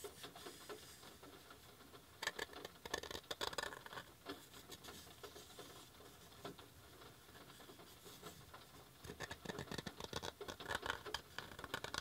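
Tapping on a handmade wooden coaster produces many quick, sharp, light clicks in uneven bursts, with quieter stretches in between. Rain falls softly outside throughout.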